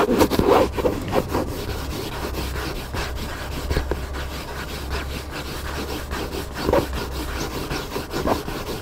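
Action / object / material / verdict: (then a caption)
scrape / hardcover book cover / cardboard / none. A hand scratches the cover of a hardcover book lying flat, using nails and fingertips. Dry, raspy scratching strokes come in an irregular rhythm, some louder bursts standing out, over a steady low hum.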